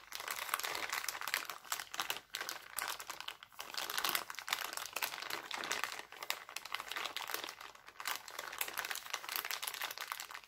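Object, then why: Thin clear cellophane bag. Hands pinch and crinkle an empty, thin, clear cellophane bag printed with hearts. A steady stream of dense, bright, crackling crinkles fills the clip, with almost no low end, short dips between squeezes and quick, dry snaps that stop almost instantly.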